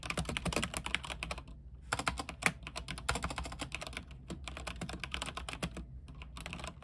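Fingertips of both hands type rapidly on a full-size mechanical keyboard with white plastic keycaps on a silver frame and RGB backlight. A fast, dense stream of short, bright clicks and clacks is heard, with a brief pause near the two-second mark. A steady low hum runs underneath throughout.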